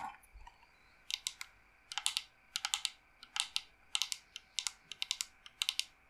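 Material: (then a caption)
Wood. Long nails tap and scratch the perforated carvings of a dark carved wooden incense box, long and hollow, held close. Quick bursts of bright, dry clicking and scraping come in short clusters with brief pauses between them. Each hit dies away almost at once.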